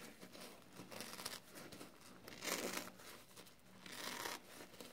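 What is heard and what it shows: A soapy foam kitchen sponge with a scouring pad is crushed and squeezed between fingers. It gives a continuous wet, crackling crinkle with bright fizzing bursts that swell and fade over the clip, loudest in the middle and again near the end.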